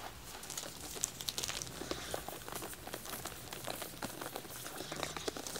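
Fingertips and short nails tap and scratch the plastic shrink-wrap on a pack of white wax tealights with a black label. The result is a steady run of close, dry crinkles and quick, bright ticks.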